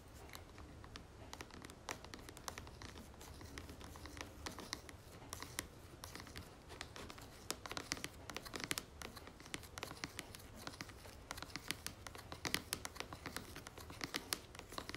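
A white plastic jar of moisturizing cream with a red plastic lid, held on a table, is tapped and scratched with long nails. The result is a quiet, steady stream of sharp, crisp clicks and scratchy rasps, bright and dry with no ring, over a faint low background hum.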